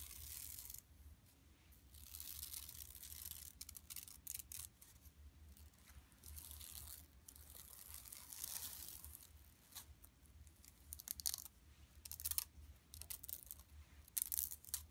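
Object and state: Woven plastic mesh shopping bag.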